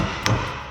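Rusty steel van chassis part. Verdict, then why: Solid. A single tap on a rusty steel chassis part near the wheel arch of a van, during a teardown, gives a short, solid knock with a low body and a brief bright edge that fades within about a third of a second. It does not sound hollow, so the part is judged in good condition, unlike nearby sections that need replacing, and only surface rust treatment is needed.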